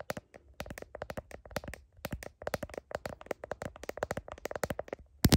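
Long nails tap rapidly on the back of a smartphone in a blue heart-patterned plastic case, near the camera, while the phone is held up to a mirror. The result is a fast run of short, dry plastic clicks with almost no ring, ending in one louder, brighter tap.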